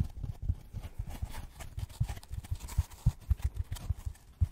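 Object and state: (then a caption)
Styrofoam packaging block. Gloved fingertips tap a white polystyrene foam packaging block in a quick, irregular series of soft, dull thumps. The taps are low and muffled, each dying away almost instantly, with a faint dry rustle between them.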